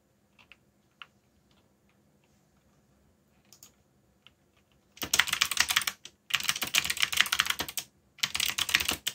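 Fingertips tap the keys of a backlit black plastic mechanical keyboard while typing. A few scattered, sharp single key clicks are followed by three dense bursts of rapid, bright, clattering keystrokes separated by brief pauses.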